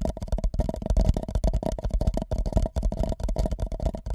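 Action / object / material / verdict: tap / empty paper cup / paper / none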